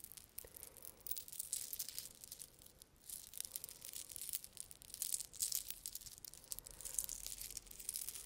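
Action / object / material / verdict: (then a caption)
scrape / thin metal link chain necklace / metal / none. A thin gold-tone metal link chain necklace is held near the mic while fingers with long red nails handle and rub the links. The result is a soft, continuous stream of bright, high jingling and tinkling clinks that swell and fade, with almost no low end.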